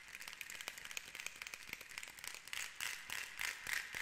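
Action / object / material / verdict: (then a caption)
tap / wooden end cap of a rainstick tube / wood / none. A fingernail taps and scratches the flat, textured light-wood end cap of a painted rainstick tube held horizontally; the tube is hollow and filled with beads. Quiet, bright, dry clicks and scratchy rasps come in a quick, uneven stream, with a resonant tone near 1.8 kHz. The scratching grows louder and denser in the second half.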